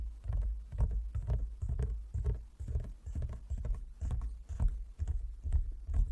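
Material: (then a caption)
Wood. Fingertips of both hands tap on a large, closed, hollow wooden folding chess board, partly along its top edge. The result is a quick, uneven patter of soft, dull, low knocks with a deep hollow body and very little ring.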